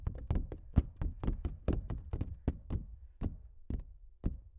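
Fingertips and nails tap and knock on the textured surface of a large stretched canvas print that is hollow behind, giving a quick series of dull, low, hollow thuds with brief bright clicks. The hits die away almost instantly and fall in an uneven rhythm, closely spaced at first and sparser toward the end.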